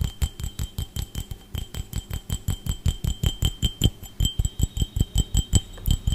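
A clear, empty, hollow glass drinking tumbler is held in one hand and tapped and scratched with the fingertips and nails of the other. About 32 quick, somewhat uneven taps follow one another, each with a dull low thump, a brief bright glassy tick near 3 kHz and higher, and almost no ring.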